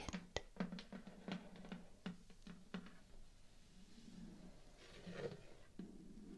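A large, white, rigid cardboard shoe box with two drawer compartments is tapped and scratched on its front face with long painted nails and fingertips. A quick series of dry, hollow taps, each with a low thump and a bright click that dies away almost instantly, gives way midway to a soft, hissy scratching before a final few taps. The sound is quiet and close throughout.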